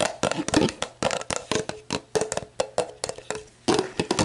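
Long black nails tap and scratch the label and ridged bottom of an empty, clear plastic sports drink bottle lying on its side. Quick, hollow, crackly taps come in irregular bursts over a low resonance around 300 Hz, with bright scratchy edges. Each tap dies away quickly.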